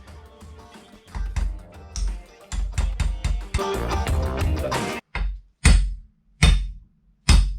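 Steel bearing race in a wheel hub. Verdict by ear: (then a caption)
Seated. A steel bearing race is driven into the second side of a Mercedes W124 front wheel hub, producing a series of deep, heavy metallic strikes over music for the first five seconds. The race bottoms out and the pitch changes, followed by four separate, sharper strikes that confirm it is fully seated.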